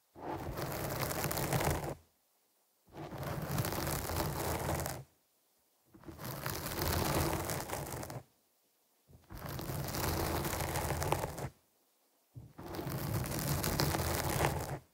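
Long nails scratch the black foam windscreen on a microphone in five separate bursts of about two seconds each, with short silences between them. Each burst is a dense, rough, crackling scrape with a heavy low rumble and some bright hiss on top.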